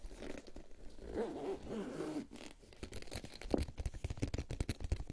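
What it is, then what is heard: Faux-leather cosmetic pouch. A closed, medium boxy pink faux-leather makeup pouch with a metal zipper is held in both hands and worked over its sides and top with fingertips and short nails. The first half is a soft, continuous scratching and rubbing. It shifts to a quick run of sharp tapping clicks, some of them brighter, that ends with rapid, close-spaced taps.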